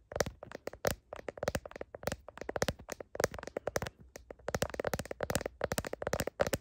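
Long nails tap quickly on the back of a smartphone's blue heart-patterned plastic case and its camera bump. The result is a rapid, uneven run of crisp, short clicks with a hollow plastic tone around 570 Hz and bright click edges, each dying away almost at once.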